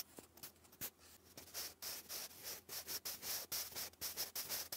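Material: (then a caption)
Paper. A sharpened wooden graphite pencil is drawn across a thick sheet of grey lined cardstock lying flat, writing English cursive. The result is a quiet, steady run of bright, high scratchy strokes with short pauses between them.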